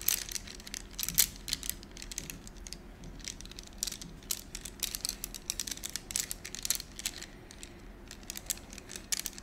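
A bundle of about ten thin, solid gold-coated wax candles is held in the hands and rubbed and rolled against each other with fingertips and short nails. This produces a dense run of quick, bright clicks and crinkly scratches that die away instantly, over a faint low steady hum.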